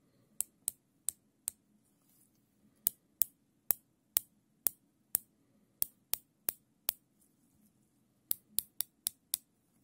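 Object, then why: Nylon zip tie. A thin black nylon zip tie, looped into a ring and held in black nitrile-gloved fingers, has its tail pulled through the ratchet head. This makes 19 sharp, bright, dry clicks in three runs of four, ten and five, each dying away almost at once. A faint low hum runs underneath.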